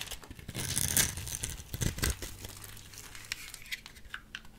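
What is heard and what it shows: A small metal blade and fingers carve and crumble the scored edge of a solid white soap bar into small cubes. Dense, bright crunching and crackling builds to its loudest bursts around the first and second seconds, then thins into scattered crisp clicks and crumbles.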